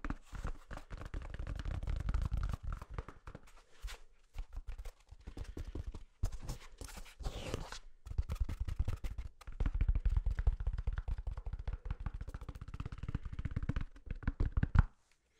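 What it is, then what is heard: Toilet paper roll. Fingertips tap on the end of a large white toilet paper roll with a hollow cardboard core and rub along its side. Rapid, soft, muffled thuds come in dense bursts with short pauses, mixed with faint papery scratching, before stopping abruptly near the end.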